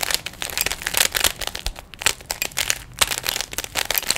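Fingertips twist the layers of a small hollow plastic 3x3 Rubik's cube, producing a rapid, uneven series of sharp plastic clicks and rattles. The clicks are bright and dry, fading almost instantly, with very little low end.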